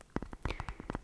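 Fingers tap on a ball in quick, soft taps, each dying away almost at once. The taps have a dull, low body with a faint metallic ring underneath.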